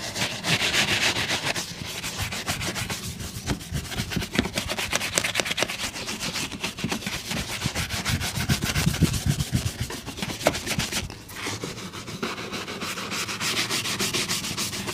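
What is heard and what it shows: A wooden bristle shoe brush is stroked rapidly back and forth over a brown leather boot. The result is a steady, dense, bright scratching rustle that continues throughout, with a brief softer dip around the eleven-second mark.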